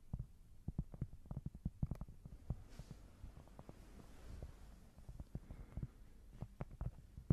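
A small, thin, solid square cork board is held close and scratched and tapped with long nails. Quick, dull, low thuds are heard with little ring, mixed with soft scratching.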